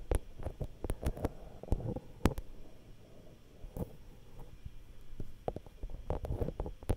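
Long nails tap and scratch on the metal mesh capsule guards of a Zoom H5 handheld recorder's X/Y microphone capsule. Short, sharp, irregular taps land close to the mic as dull, boomy thumps, with soft scratching and rustling between them. The taps die away almost instantly.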